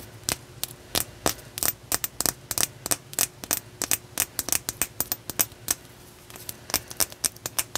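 A solid, hand-length opalite (man-made glass) point with a faceted tip is held in both hands and tapped and scratched with long nails. About 35 short, sharp, bright clicks and scrapes come in quick, irregular succession, each dying away almost instantly. A faint steady low hum runs underneath.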